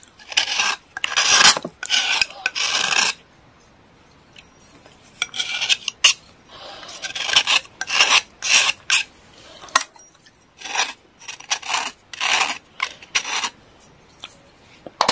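A small, solid gray stick of pressed clay or chalk, held in the hand, is scraped repeatedly with a metal knife blade, with the shavings falling into a tray. The result is bursts of dry, bright, rasping filing strokes separated by short pauses, with almost no low end.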